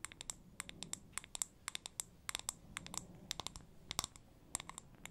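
Fingernails tap and scratch on a wide glass jar candle with several lit wicks and a solid wax fill, making a rapid run of about thirty quick clicks. Each click is sharp, bright and glassy, dying away almost at once over a faint, soft scratching hiss with little low end.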